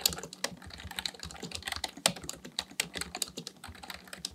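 Both hands' fingertips type continuously on a black plastic full-size Dell KB1421 membrane keyboard with a hollow housing, resting on a desk, pressing and tapping the keys. A rapid, uneven run of short, bright clacks follows, each dying away almost instantly, with little low-end weight and a few sharper strokes standing out.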